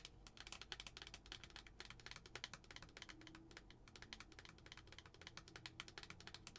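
Long acrylic nails tap rapidly on a lidded glass tumbler with a pumpkin tag, filled with tissue. A fast, steady stream of quiet, bright, clicky taps dies away almost instantly over a faint low background hum.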